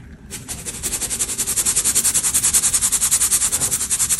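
A small round stainless steel mesh hand sieve filled with white baking soda powder and clumps is held by its handle over a large metal tray and shaken side to side. The powder rubs and sifts through the mesh in a fast, steady series of bright, hissing swishes that start quietly and build in loudness within the first second and a half.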